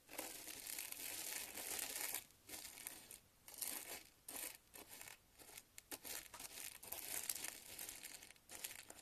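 A thin wooden chopstick stirs and scratches through dry, uncooked long-grain white rice filling a shallow round glass dish. It makes a bright, hissy, crinkling rustle that comes in bursts of varying length, separated by brief pauses, with almost no low end.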